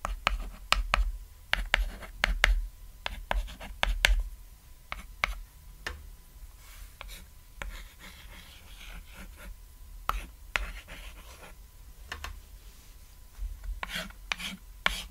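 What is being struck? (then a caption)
Chalk on a thin chalkboard. White chalk draws a house and a tree on a small, thin, flat cat-silhouette chalkboard lying on red fabric. Crisp, scratchy strokes and sharp taps come in irregular bursts, then softer rubbing in the middle, over a steady low hum.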